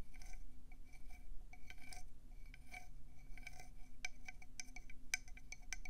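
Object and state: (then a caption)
Conch seashell tapped with nails. Long painted acrylic nails tap quickly on a hand-sized, hollow, cream conch shell with brown speckles, held in both hands. The fast clicks have a bright, glassy ring with a steady high tone near 2.3 kHz over a low rumble, and the taps grow sharper and more separated in the last two seconds.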